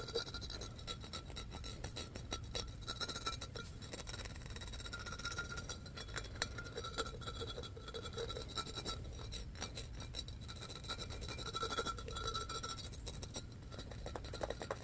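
Fingertips and nails scratch and rub the raised embossed pattern of an empty, hollow, light-blue pressed-glass pitcher. The result is a steady, dense stream of fast raspy scratches and tiny clicks over a low rumble, with faint glassy ringing tones showing through.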